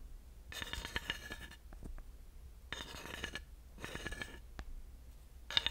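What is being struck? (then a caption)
Grooved wooden panel with a thin wooden dowel. A thin wooden dowel taps and runs across the ridges of a flat, solid, grooved wooden panel. Short bursts of bright, rattling scraping alternate with sharp, dry taps that die away almost instantly. A low, steady rumble sits faintly underneath.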